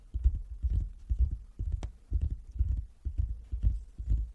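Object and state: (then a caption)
Wooden table. Fingers tap on a wooden table in quick, uneven clusters that repeat about every half second. Each tap is a dull, low thump with almost no high content, dying away at once.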